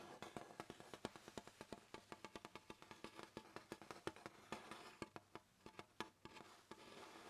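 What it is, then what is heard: Hardboard clipboard. A brown hardboard clipboard, held in one hand, has its surface tapped and scratched with fingertips and nails. A long run of quick, dry, hollow taps sounds over a soft scratchy hiss, each tap cut off almost at once with a woody, low-mid knock.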